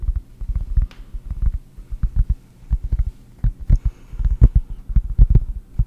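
Long painted nails tap a round, flat cork board held in both hands right at the microphone. The result is a quick, uneven run of soft, deep, muffled thuds with almost no ring, over a faint low hum.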